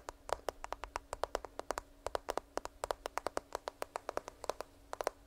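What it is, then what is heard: Smartphone in case, tapped with nails. Long nails tap rapidly on the back of a smartphone in a black case, held horizontally near the microphone. About 37 quick, dry clicks with a mid-pitched body and bright tips stop instantly with no ring, over a faint steady hum.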